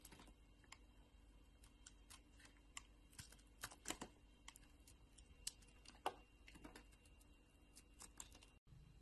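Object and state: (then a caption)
Bar soap being carved. A metal utility blade scrapes and slices a solid pink bar of soap held in the palm, carving off curls. Quiet, crisp scratches and soft clicks come at an irregular pace over a faint steady hiss, each stroke short and bright with almost no ring.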